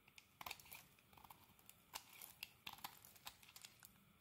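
A metal blade scrapes shavings off the surface of a solid rectangular green soap bar held in the hand. A rapid, uneven series of short, crisp, crinkly scrapes rises over a faint hiss. The scrapes are quiet, bright and dry, with almost no low end and no ring after each stroke.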